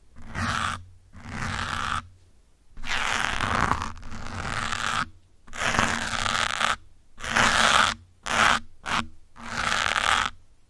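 Metal pins held in the fingertips scratch around the side and top of a grey foam windscreen on a black microphone. The result is bursts of close, dense, bright scratchy rustling, separated by brief pauses where a faint low hum remains.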